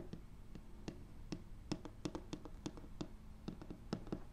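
Fingertips with short painted nails and rings tap and scratch across a large, flat, solid, light wood-grain laminate tabletop, next to a foam-covered mic lying on it. Quick, dry knocks with almost no ring stand out over a soft scratching texture, and the sound stays low and muffled throughout.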